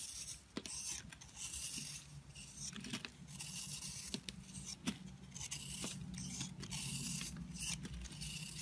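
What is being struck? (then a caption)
Bar of soap scraped with a blade. A box-cutter blade scrapes flakes off the surface of a solid oval bar of soap with a green-blue crumbly crust, held in the hand. The sound is a quiet, dry, bright scraping and crumbling, broken by short sharp clicks as the blade catches, over a steady low hum.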